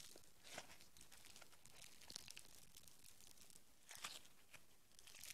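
Green foam bead clay is pulled into a long rope with both hands, then kneaded into a small lump with the fingertips. It gives a quiet, continuous stream of tearing and bright crackling, with sharper pops rising above a soft low rumble.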